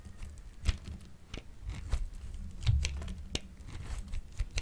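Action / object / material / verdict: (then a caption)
scrape / bar of soap scraped with a metal grater blade / soap / none. A hand-held, hand-sized solid yellowish bar of dry soap is scraped repeatedly with the metal blade of a grey-green plastic grater, making short, crisp, crackling rasps over a low rumble. Curls of soap fall onto the table.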